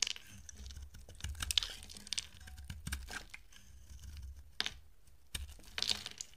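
A utility-knife blade shaves curled flakes off a solid peach-colored oval bar of dry soap with a blue coated rim, held in the hand. The cuts make dry, bright, crackling scrapes, with a few sharper, louder crunches standing out over a low, soft rumble.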